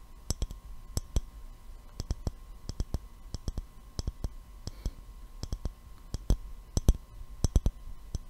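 An empty, clear glass mason jar with a gold metal screw lid is held in both hands and tapped with the fingertips and nails. The taps are short, dry clicks that come in an irregular, unhurried rhythm, often in quick pairs, each with a bright tick over a soft low thump that dies away almost instantly. A faint steady hum runs underneath.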